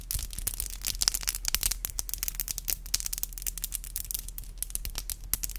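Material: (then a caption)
Acrylic. Long, black, glossy acrylic nails are tapped and clicked together, nail on nail. The result is a rapid, steady stream of sharp, bright clicks with almost no ring, over a faint low hum.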